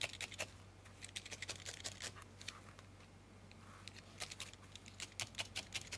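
A small, solid ball of grey-white felted wool is held between fingertips and poked again and again with a thin steel felting needle, close up. The result is a quick, uneven run of soft, bright scratchy pokes with very short tails, thinning to a lull midway before picking up again, over a faint steady low hum.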